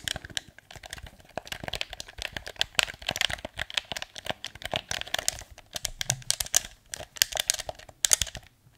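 A hand-sized, hollow, dark blue plastic PS4 controller is held in both hands while fingertips and short nails tap its shell and click its buttons. The result is a rapid, uneven stream of dry, bright clicks and taps with a crinkly, crackling texture. Each tap dies away almost instantly, with very little low end.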